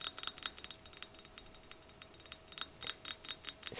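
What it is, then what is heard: Small glass vase. Long nails quickly tap and scratch a small blue glass vase or jug with fold-like patterns imprinted into the glass and two little handles. About twenty bright, high-pitched clicks and scrapes come in a fast, uneven run, each dying away almost instantly with almost no low end.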